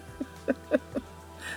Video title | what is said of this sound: Index Card Art #1 | that's me tapping my fingers on it it's quite stiff now